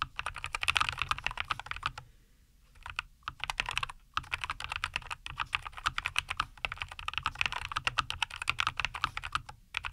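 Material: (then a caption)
Plastic. Both hands type continuously with fingertips on a NuPhy Air75 V2, a compact 75% mechanical keyboard with Cowberry linear switches, a white case and green-and-white plastic keycaps, resting on a wooden desk. Rapid, crisp, short clacks with a bright tone centered around 2.5 kHz and very little low end run in quick bursts. A brief pause falls near two to three seconds, with shorter gaps around four seconds and near the end.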